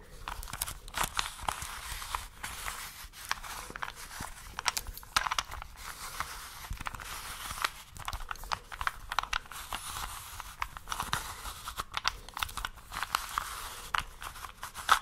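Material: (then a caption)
Plastic. A small plastic 3x3 Rubik's cube is held close in both hands while long nails scratch and tap it and its layers are turned. The result is a steady stream of dry, crisp clicks and scratchy rasps, bright and papery up high with little low end.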